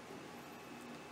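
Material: Nothing is struck.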